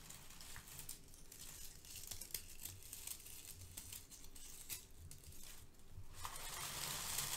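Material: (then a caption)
Paper. Fingertips and nails scrunch and crush brown crinkle-cut kraft paper shred filler resting on a foam sheet. They make a steady, irregular stream of dry, bright crinkles and crackles over a soft low rustle. The sound grows denser and louder in the final second as the crushing builds.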